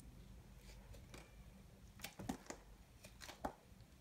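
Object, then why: Bar soap shaved with a small knife. A solid, dry, multicolored bar-soap ball is held in the hand and scraped and shaved with a small knife. Short, dry scraping and cutting strokes sound over a steady low hum, with sharp crisp clicks and bright shavings.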